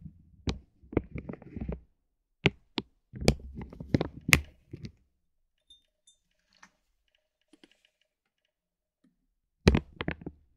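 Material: Vinyl plastic.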